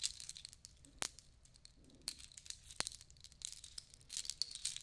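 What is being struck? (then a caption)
Necklace of small shells on a cord. Hands rummage through a long necklace of small natural shells strung on cord, letting it dangle and clink. Quiet, bright, dry clicking and rattling continues throughout, with a few sharper clacks standing out.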